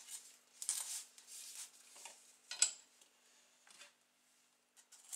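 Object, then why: Baked phyllo pastry pie with custard filling. A large metal chef's knife presses and saws through a rectangular golden baked bougatsa, a phyllo custard pie with crispy, flaky layers and a soft semolina custard filling, lying on parchment paper on a board. Bursts of bright, dry crunching and crackling come from the phyllo, with possible parchment crinkle, and the sharpest crack comes midway. It is a soft, high-pitched sound with almost no low end.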